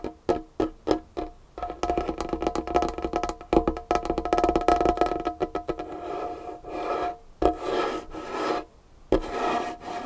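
Long painted nails and fingertips tap and scratch across a large solid wooden tabletop with a dark varnished finish. A few separate, short, woody taps open the clip, then give way to fast, dense tapping mixed with rasping scratches. Later come sustained bursts of bright, hissy scratching that stop and start.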